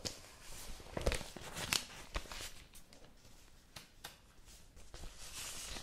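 Hands open, fold and crinkle the thin newsprint pages of a newspaper. Soft, dry rustling is broken by sharp, bright crackles and snapping creases at irregular moments. The sound eases into a steadier hiss of paper brushing against paper.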